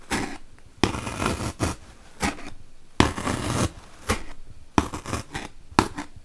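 A wooden toothpick, held by long-nailed fingers, is poked repeatedly into a large, solid white melamine foam magic eraser block. The result is a series of short, dry, crunchy scratches and longer rasping scrapes, separated by quiet gaps.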